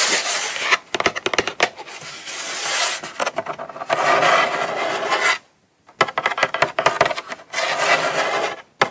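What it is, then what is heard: Cardboard gift box. A small closed brown kraft cardboard Coach box, hollow and held in hand, is scratched and rubbed across its lid by long pointed nails. Dry, bright rasping strokes alternate with quick sharp scratch flicks, broken by a brief silence near the middle.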